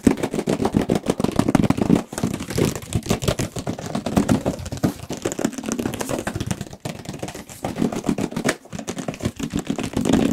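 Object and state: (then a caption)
Cardboard box tapped. A black printed cardboard retail box for a Radeon RX 570 graphics card, about 30 cm long and likely hollow with its contents inside, is held in the hands and tapped quickly with the fingertips and nails in front of two microphones. The result is a rapid, continuous patter of dull, hollow taps centered low around 250 Hz, with little high end and almost no ring, broken by brief pauses near 2, 6.8 and 8.6 seconds.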